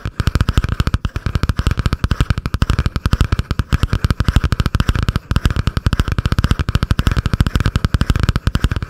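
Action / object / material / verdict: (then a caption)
tap / cardboard-covered spiral notebook / cardboard / none. A butterfly-print spiral notebook with a cardboard cover, held above the microphone, is tapped and scratched quickly with long painted nails. A rapid, steady stream of short, dull thumping taps with a heavy low-end body continues for the whole clip, with only a faint scratchy rasp.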